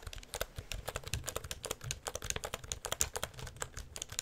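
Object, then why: Plastic computer keyboard. Fingertips press and tap the keys of a black plastic full-size computer keyboard with a hollow housing, held upright near the microphone, while the palm also pushes down on the keys. A rapid, uneven stream of crisp, bright clicks follows, each dying almost instantly, with hollow low thumps from the housing underneath.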